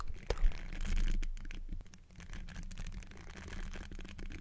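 Fingertips in textured silicone finger covers scratch and rub the hollow metal mesh grille of a large black Blue Yeti-style microphone. The result is a close, rapid series of dry scraping and rubbing strokes over a heavy low hum.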